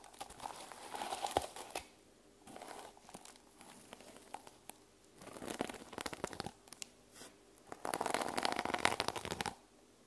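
A teal plastic sequin-covered journal cover is held in hand while long nails scratch and brush across the sequins. Bursts of dry, crinkly scratching and clicking rise and fall across the clip, with brief quieter pauses between them. The loudest, densest stretch of sequin rustling comes near the end.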